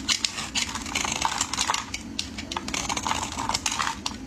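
A metal utility blade shaves curls off the end of a solid, hand-sized rectangular orange/peach bar of soap held in hands wearing pink finger cots. It makes a rapid series of crisp, dry scraping strokes that are bright and hissy, with almost no low end and no ring after each cut.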